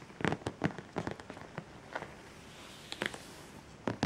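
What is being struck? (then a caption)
Clear plastic storage box with lid. Fingertips and nails tap and rub across the closed lid of a medium clear plastic storage box full of bagged pencils, markers and crayons, resting on a pink quilt. A series of short, dry plastic clicks and taps comes in scattered clusters with soft scraping between them, each dying away almost at once over a quiet background.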